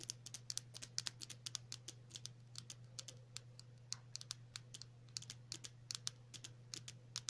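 Long natural nails tap and scratch a small, hollow, white cylindrical plastic tube with pink print held in the fingers, producing about 38 sharp, bright clicks at an irregular, quick pace. Each tick dies away almost instantly, with faint scratchy texture between taps over a steady low hum.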